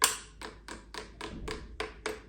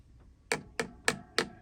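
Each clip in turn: First: hard plastic chainstay protector. Second: foam-padded plastic chainstay protector.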